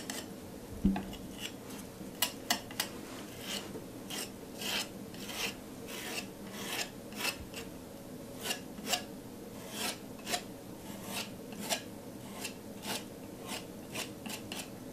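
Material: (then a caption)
Wet paint. A metal palette knife is repeatedly scraped and smoothed across a flat canvas board coated in thick, wet teal paint. Each stroke makes a soft, bright, rasping scrape over a low, steady background. The strokes come as short, separate swipes with a quick fade between them.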